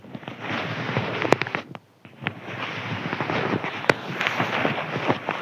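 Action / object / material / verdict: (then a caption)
scrape / thin crinkly paper sheet / paper / none. A thin white crinkly paper sheet is scratched with the fingernails of both hands. It makes a dense, continuous crackling and rustling texture, dotted with sharp, bright snaps. There is a brief near-silent pause around the two-second mark before the scratching resumes.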